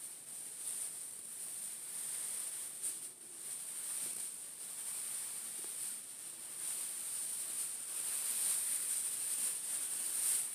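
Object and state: Nothing is struck.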